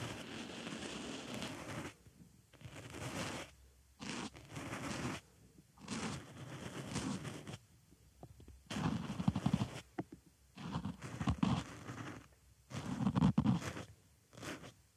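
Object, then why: Foam makeup sponge scratched with a wooden stick. A small white foam makeup sponge fitted over a microphone ear is scratched around its hole with a wooden stick. Bursts of close, crackly scraping and rustling, full in the low end, alternate with brief near-silent pauses throughout.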